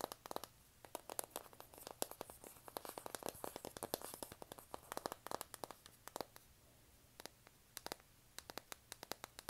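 Long nails scratch across the cover of a flat, rectangular, hand-sized pink printed cardboard eyeshadow palette. Dozens of quick, dry, crackly scratches and clicks come in rapid bursts with brief pauses, and each one stops instantly without ringing.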